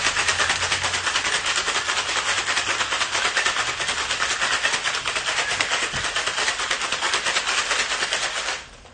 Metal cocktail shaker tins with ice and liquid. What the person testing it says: I can hear the air trying to escape. I know it's ready.